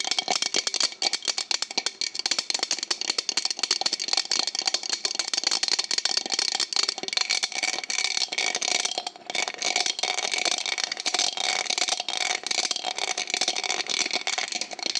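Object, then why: Cut glass cup. Long painted nails rapidly tap and click around the patterned surface of a small, hollow, empty-looking cut-glass drinking cup held up in both hands in front of a microphone. The result is a dense, continuous stream of bright, glassy, rattle-like clicks that stays mostly high and crisp, with almost no low end and very short ring.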